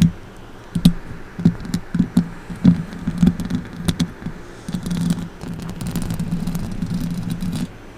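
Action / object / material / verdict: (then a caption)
scrape / metal mesh microphone grille / metal mesh / none. A silver microphone's hollow metal mesh grille is tapped and scratched with long acrylic nail tips, giving soft low thuds with brief bright ticks. Near the end, fingertips brush against it, making a steadier low rubbing hum.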